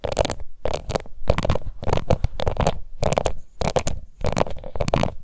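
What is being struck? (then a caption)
Plastic face powder compact. A small round pink plastic face powder compact with an embossed lid is scratched and tapped with long nails. Short, dry bursts of scraping and clicking come in quick clusters with brief pauses between them. Each sound dies away almost at once.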